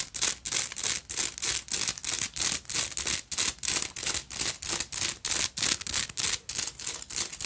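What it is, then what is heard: Beaded purse with metal frame. Long nails scratch and tap a black beaded purse, first along its silver metal clasp frame and then across its beaded front. Quick, bright, hissy scratching bursts repeat about three times a second in a fairly steady rhythm. They are dry and short, with almost no low end.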